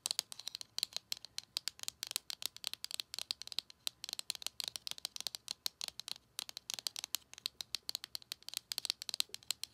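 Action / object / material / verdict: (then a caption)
tap / small cardboard box / cardboard / none. Long acrylic nails rapidly tap and scratch along the surface of a small, narrow, hollow printed cardboard Colourpop Lippie Stix box held in the hand. The result is a quick, irregular string of dozens of dry, bright clicks, each dying away almost instantly, with scratchy texture between them and almost no low end.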